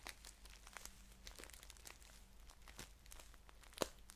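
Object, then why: Paper tea pouch. Fingers crinkle and fold the top of a green paper tea package held upright, then scratch it while it is held flat. Quiet, crisp paper crinkling comes in bright, scattered crackles over a faint steady low hum, with one sharper snap near the end.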